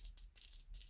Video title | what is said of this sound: 존윅 권총 TTI 2011 풀메탈 금속 타란택티컬 컴뱃마스터 존윅4 STI EMG UDL (너프건 수정탄 에어코킹 에어소프트건 모델건 비비탄 가스건 탄피배출 합금 존윅총 리볼버) | 탄창에는 8발까지 들어갑니다. 현재 찰랑찰랑 들리시죠?